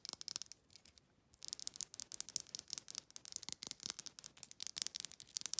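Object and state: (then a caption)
Glass supplement bottle with ridged plastic lid. Long nails rapidly tap a small amber glass supplement bottle and scratch its ridged black plastic lid, making quick, bright clicks and dry scratching. The sound is thin and high with almost no low end, and there's a short quiet gap near the one-second mark before the tapping resumes even faster.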